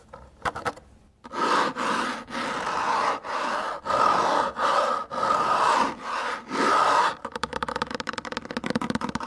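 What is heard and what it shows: Fingertips scratch and slide along a small, hollow-ish black plastic score slider rail with numbered sliding markers, mounted on the edge of an air hockey table. A few light ticks open the clip, then seven long, bright scraping strokes follow with brief gaps between them. The clip ends in a rapid flurry of quick scratches.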